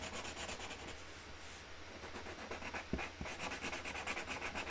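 A hand colours in a flower with a pink felt-tip marker on a large, flat cardboard box lid, making quick, rubbing strokes that hiss brightly against a low steady hum. Partway through, the strokes ease off briefly, then two sharp taps sound close together before the rhythmic scratchy colouring resumes.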